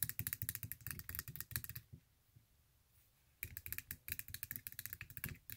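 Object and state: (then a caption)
Glitter fabric high-heel sandal. Long acrylic nails quickly tap and scratch the glitter-covered straps and thin heel of a silver stiletto sandal held in hand. A fast run of sharp, bright clicks with a soft low thump under each stops for about a second and a half of near silence, then the rapid tapping resumes to the end.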